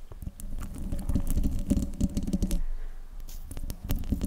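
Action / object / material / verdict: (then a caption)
scrape / metal mesh microphone grille / metal mesh / none. Long nails scratch and tap the hollow metal mesh grille of a silver desktop microphone, producing a dense, close, bass-heavy patter of rubbing and clicking with a faint low tonal ring. The scratching thins out briefly past the midpoint, then the sharp taps resume.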